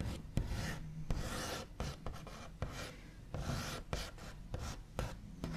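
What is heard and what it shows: The backs of the nails of one hand scratch and trace across the large, solid, smooth top of a white-finished wooden table. Soft, dry rasping strokes come in bursts, punctuated by brief sharp taps with a dull, low body. Each touch dies away almost instantly.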